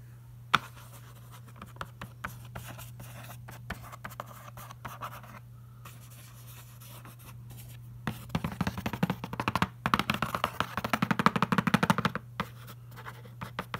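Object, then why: Printed cardboard box. A fingertip traces and scratches across the glossy printed surface of a large, hollow cardboard box, Logitech keyboard packaging lying on a rug, with a metal bangle on the wrist. Soft, sparse scratches and light taps come first, then the strokes turn faster, louder and denser from about eight seconds on before easing near the end. A steady low hum runs underneath throughout.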